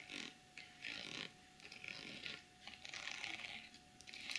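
Long chrome nails tap and scratch the top of a small zippered pouch covered in pink plastic sequins. The sound is a quiet, bright, crisp rustling and clicking that comes in short bursts with brief pauses between them.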